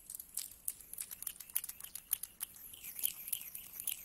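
A pile of mixed small solid metal coins on a carpet is scratched through with fingertips and rubbed together, then spread out with flat hands. The result is a quiet, bright run of dense, irregular metallic clicks and chinks with a soft rustling rub and almost no low end.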